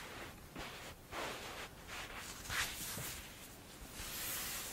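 A mound of pink kinetic sand on a dark glossy surface is scratched and dug into with long blue-painted fingernails and fingertips, then grabbed and crumbled. Soft, grainy scraping and crunchy rustling come in uneven swells, brightest in the high range, with a sharper crunch near the middle before the sand is crumbled at the end.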